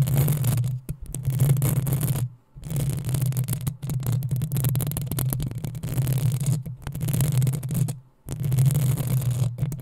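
Long acrylic nails of both hands scratch the rounded, hollow metal mesh grille of a black USB condenser microphone. The result is dense, continuous scratching with a heavy, boomy low rumble, broken by brief silent pauses.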